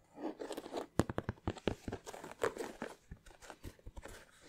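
Fingernails scratch and tap the leather upper of an empty white leather Air Force 1 sneaker with a blue swoosh, held in both hands. Soft crinkly scratching mixes with a quick run of short, dry taps that stop at once with no ring.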